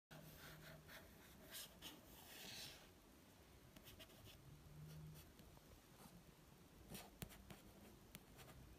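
A fingertip wearing a ring traces and taps across the red and white card front cover of the paperback novel "Elizabeth is Missing," which stands upright on a shelf. Quiet, dry scratchy brushing runs throughout, broken by a few light, short taps with bright clicks.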